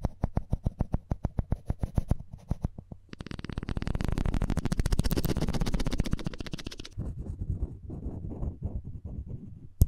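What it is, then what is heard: Wooden spoon handle scraped with floss thread. The taut thread of a plastic floss pick is rubbed and scratched back and forth along a hand-held, light-coloured solid wooden spoon handle. Quick, evenly spaced dry scrapes give way to a dense, louder rasping run in the middle. The strokes then thin out into softer, irregular scratches, all low and dull in tone.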